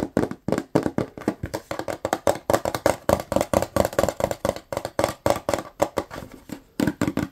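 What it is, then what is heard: Plastic cleaner bottle. Fingertips tap and fingernails scratch quickly on the body of a medium-size white plastic Lysol cleaner bottle with a blue cap, hollow and likely filled. A fast, irregular run of short, dry, hollow taps carries a tone around 560 Hz, mixed with faint scratchy rasps. Each tap dies away almost at once with no ringing.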